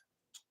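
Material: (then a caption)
Silver. A silver collectible piece is tapped once, giving a short, bright metallic tick near 3.4 kHz that dies away almost at once. The piece is hollow inside; if it were solid it would weigh close to two ounces.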